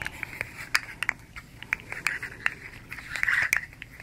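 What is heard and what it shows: A hand-sized, hollow fidget slug made of hard plastic segments striped red, blue and yellow is held in both hands and flexed and rolled while long nails rub along it. Quick, dry plastic clicks and crunches snap out over a soft, bright scraping hiss, with a midrange tone near 1.8 kHz and almost no low end. The clicks come in irregular bursts and thicken into a dense rattle near the end.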